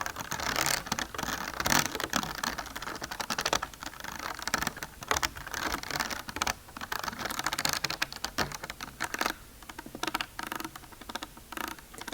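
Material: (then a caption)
Plastic. Fingernails tap and scratch quickly on a bumpy plastic container with ridged sides. Dense clicking and scraping patter runs steadily across the clip, bright and crisp with little low end.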